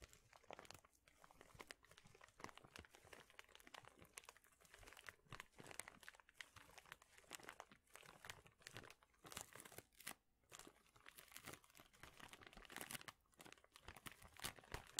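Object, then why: Plastic bag of small wooden craft pieces. A large clear plastic bag full of small thin wooden craft shapes is squeezed and crinkled with the hands. The result is a quiet, dense run of bright, crisp crackles and crunches that swell and ease with brief pauses, with little low end.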